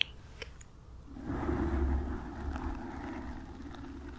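Long nails and fingertips of both hands scratch the black foam windscreen on a desk microphone. After a quiet start with a faint tick, a dense, muffled rustling and scratching with a deep low-end rumble swells in, peaks around the middle, and then continues at a softer, steady level.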